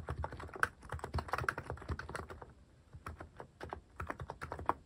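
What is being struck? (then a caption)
Mechanical keyboard with plastic keycaps. Fingertips type continuously on a white-cased mechanical keyboard fitted with plastic cat keycaps. The result is a rapid, steady stream of short, dry clacks with a slight pause in the middle.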